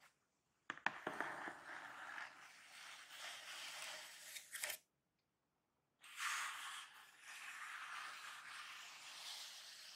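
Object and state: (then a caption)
Cardboard shipping box. Both hands scratch and tap the top surface of a large, closed, hollow corrugated cardboard box near the tape seam, using short painted fingernails and fingertips. A few sharp taps open a stretch of dry, bright scratching that rises and falls in steady strokes. After a brief silence, the scratching resumes louder and continues to the end.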